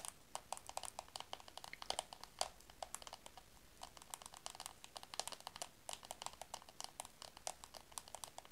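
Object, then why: Small plastic compact mirror. Long acrylic nails tap and scratch a small, round, hollow black plastic compact with a mirror, held close. The result is rapid, clicky taps with a hollow ring around 730 Hz and bright, dry scratches, each decaying almost instantly.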